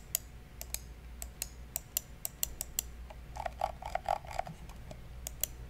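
A black, hollow, hand-sized plastic wired computer mouse is held in one hand beside the microphone while fingertips click its buttons. Sharp, dry, bright clicks with almost no ring come at an uneven pace, with a busier stretch of softer, rattling clicks partway through. A faint low hum runs underneath.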